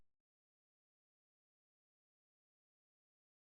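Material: Nothing is struck.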